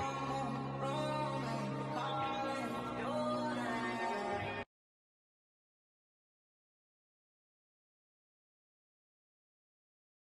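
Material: Nothing is struck.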